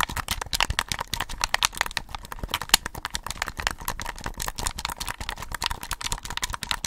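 Both hands wrap around a hollow, cylindrical, red-lit plastic and mesh desktop USB condenser microphone about 20 cm tall, held in front of the mic, as fingertips and short nails quickly tap and scratch its body. A dense, rapid stream of dry, bright, typing-like clicks and scratches follows, each dying almost instantly with no ring.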